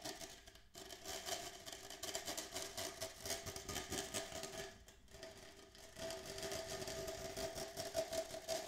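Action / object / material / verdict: scrape / plastic cup / plastic / none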